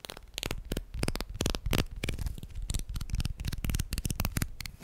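Plastic guitar picks are tapped and handled, producing fast, light, dry clicks in quick bursts over a low rumbling background.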